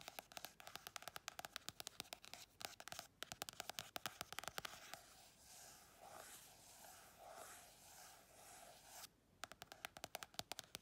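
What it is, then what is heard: Paperback book cover tapped and scratched. Long red chrome nails tap quickly on the glossy card cover of a small paperback colouring book, giving crisp, bright clicks. The nails then scratch back and forth across the cover in soft, hissing strokes before the fast tapping starts again.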